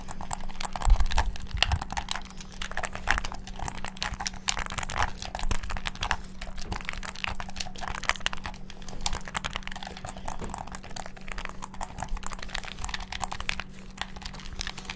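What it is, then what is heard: Plastic game controller buttons. Fingertips rapidly press and bash the buttons of a hand-sized, hollow black plastic gamepad held near the microphone. The result is a dense, continuous stream of short, dry plastic clicks and taps over a steady low hum, with a few louder bashes near the start.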